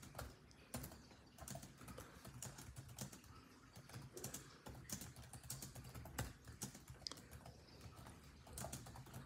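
A built-in laptop keyboard with dark plastic chiclet keys in a grey laptop body is typed on rapidly with the fingertips of both hands. Quick, dry, bright plastic key taps run in an uneven stream over a steady low hum, each tap dying away almost instantly.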